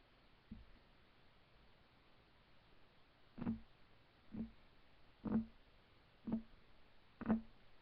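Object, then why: Wooden table top. Fingertips of both hands rapidly tap a solid, flat, light wood desk top. A faint tap is followed by five louder, dull, short knocks about a second apart, each with a low woody tone around 220 Hz and almost no ring, over quiet background hiss.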